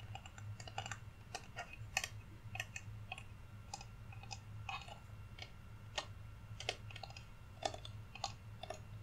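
A flat, solid, painted wooden Rudolph reindeer cutout, held in both hands, is tapped on its surface with fingernails. The result is a string of quick, dry, bright clicks with almost no ring. The taps sit over a steady low hum.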